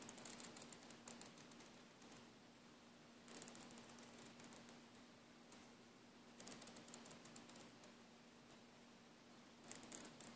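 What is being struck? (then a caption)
Braided nylon air hose. Fingertips and nails rub and scratch along the braid of a green braided nylon air hose, producing dry, bright scratching and rustling. The sound comes in louder bursts separated by quieter stretches of rubbing, over a steady low hum.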